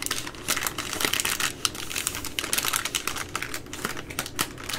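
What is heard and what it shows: Long nails tap and scratch the side of the plastic overwrap on a full three-pack of baby wipes resting on a wooden table. A quick, uneven run of bright, crisp clicks and crinkly scrapes continues throughout, with little low end beneath the sharp plastic texture.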